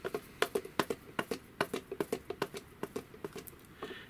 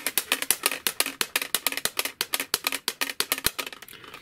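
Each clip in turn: First: foam-backed armor plates, muffled knock. Second: unlined plastic armor plates, noisy clatter.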